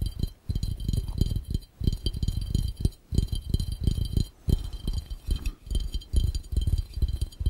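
Fingertips of both hands tap fast on an empty, hollow, clear round glass fishbowl. The taps come as rapid bursts of soft, low, hollow thuds with a faint glassy tick above them. A few brief pauses separate the bursts.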